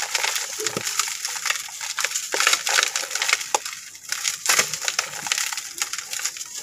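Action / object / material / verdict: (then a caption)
scrape / sand-cement disc / sand-cement / none. A round, flat, hand-sized disc of dry, gritty sand-cement mix is broken by fingertips and thumbs over a blue plastic bowl, then crumbled and rubbed apart. A steady run of dense, dry, gritty crunches and crackles sounds, bright and grainy, with no low end. Grainy dust and fragments fall into the bowl.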